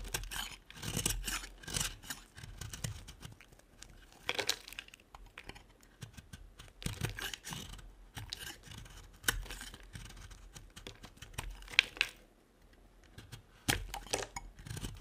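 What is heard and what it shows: A metal blade scrapes along the edge of a dry, solid round white bar of soap held in the hand, shaving off white flakes. Each stroke makes a dry, bright, crackly scraping rasp that stops abruptly, with short quiet gaps between them.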